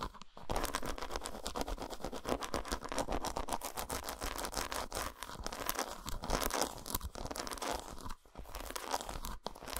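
Long nails rapidly scratch and tap the patterned squares of an unwrapped solid dark chocolate bar resting on a towel. The result is a dense, continuous stream of dry, crunchy scratches and short ticking taps with bright edges, broken only by brief pauses near the start and around the eight-second mark.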